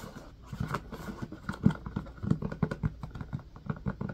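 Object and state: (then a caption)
Empty silicone ice cube tray in plastic frame. Fingers tap and squeeze the domes of an empty blue silicone ice cube tray set in a white plastic frame. The result is a rapid, uneven series of soft, dull, low thuds and muffled pats, each dying away almost at once, with a few louder taps standing out.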